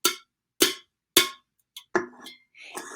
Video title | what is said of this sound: Gina Baldauf and Megan Alfaro Land present art and music lessons for young learners | if I tap it different places it makes a different sound